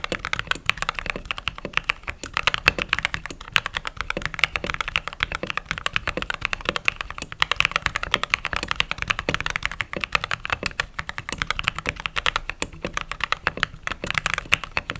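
Fingertips with short nails type rapidly on the white plastic keycaps of a backlit mechanical keyboard. A dense, steady stream of sharp, bright clicks and clacks runs for the whole clip, each keystroke dying away almost instantly.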